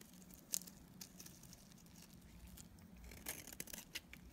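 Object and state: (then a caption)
Dry soap bar being cut. A utility knife blade scrapes and cuts pieces off a solid, dried yellow soap bar held in the hand. Quiet, bright crisp scraping and crumbly crackles are heard, broken by sharp clicks of the blade, with a faint low hum underneath.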